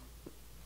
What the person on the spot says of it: when it's empty you can kind of ping it and you hear the the crystal ringing